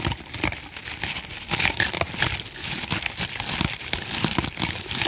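Fingernails scratch across the top of a soft, porous, hand-sized green foam kitchen sponge with a tan middle layer, held in the other hand. The result is a steady run of dry, crinkly scratching bursts, bright and hissy with a light low rustle underneath.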